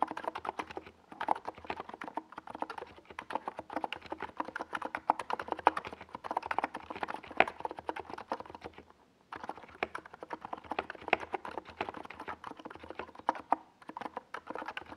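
A compact 68-key NiZ Plum Atom 68 mechanical keyboard with a white plastic case and purple and yellow tall Domikey Gas Attack SA plastic keycaps sits on a desk pad while the fingertips of both hands type on it. Rapid, steady keystrokes make dense, hollow plastic clacks centered in the midrange, each dying away almost instantly. The typing stops for a brief pause around nine seconds, then resumes at the same pace.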